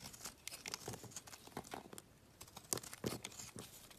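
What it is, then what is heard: Bar soap being carved. A metal utility knife blade scrapes and carves chunks off a solid gray rectangular bar of soap held in the hand. A quick series of short, dry, crisp shaving and crumbling scrapes is heard, bright and quiet with very little ring after each stroke.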